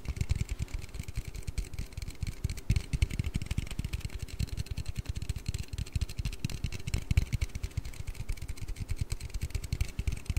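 An aluminium Red Bull energy-drink can is tapped and handled with rapid, dense fingertip taps throughout. The taps sound dull and low, with short, dead decays and a faint bright hiss.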